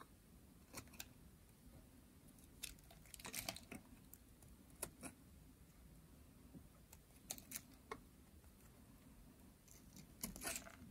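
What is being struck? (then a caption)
Soap bar shaved with a metal blade. A hand-sized white bar of dry solid soap is shaved with a metal blade, and the curls fall onto a white table. Short, crisp, bright scraping cuts come in scattered bursts over a quiet low background rumble, each cut stopping almost at once.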